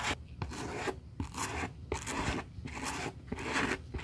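A gloved hand brushes the surface of a hollow olive-green Burberry suede high-heel ankle boot with a white plastic-bristle suede brush, first with the boot on a towel and later laid on its side. Brisk, unevenly spaced strokes make a dry, bright, raspy scrubbing sound, each ending in a soft low thump.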